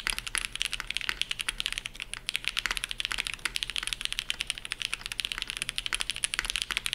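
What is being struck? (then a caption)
Mechanical keyboard with ABS keycaps. A dark navy Shelby80 tenkeyless mechanical keyboard with TTC Matrix switches on a POM plate and GMK ABS keycaps is typed on at full speed with the fingertips of both hands. A rapid, steady stream of crisp, bright clacks, each dying away almost instantly, with very little low-end thump.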